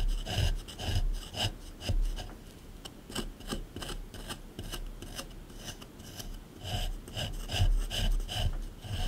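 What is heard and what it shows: A small flat metal scraper scrapes and chisels the hard surface of a solid plaster dig block sitting in a plastic tray. Irregular, gritty rasping strokes come in quick bursts, each with a dull low thump under a bright scratchy edge, pausing briefly before picking up again.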